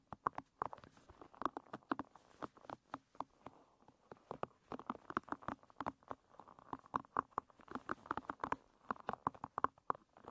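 Long red nails scratch and strum across the tips of a hairbrush's dense wooden pins, which face upward. The result is a quick, uneven run of soft, dry clicks and ticks with a woody tone around 1 kHz, each one dying away almost at once, over a faint scratchy hiss.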